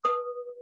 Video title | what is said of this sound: Native Pottery Demonstration with Jacob Frye (Tesuque Pueblo) | if your pottery has any kind of crack or discrepancy in it it always has to have that ring